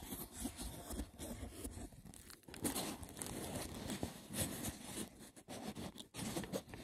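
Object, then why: Woven seagrass wicker box. Fingertips and short nails scratch rapidly over the woven top of a hollow, braided seagrass wicker box. The result is a dense, continuous crackling rasp with bright, crinkly edges and a soft, hollow low body, surging and dipping in short bursts throughout.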